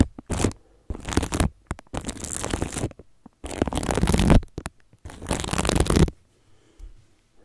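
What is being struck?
Plastic cling film wrapped over a microphone.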